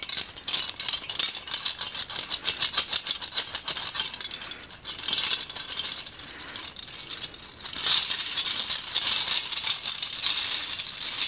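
A ring of several long, dark, solid old iron skeleton keys is held up by hand and shaken, so the keys jangle and clink together. It makes a dense, bright, metallic rattle of rapid overlapping clinks. The jangling swells and eases in bursts, dipping briefly before a louder burst of shaking near the end.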